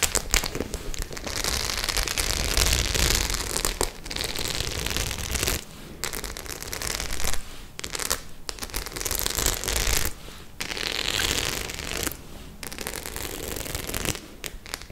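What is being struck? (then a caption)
Studded faux leather clutch bag. Long nails scratch and rub over the studs of a white studded faux leather clutch bag held in one hand. The result is dense, crackly scraping with a bright hiss and a low rumble underneath, coming in bursts separated by brief quieter pauses.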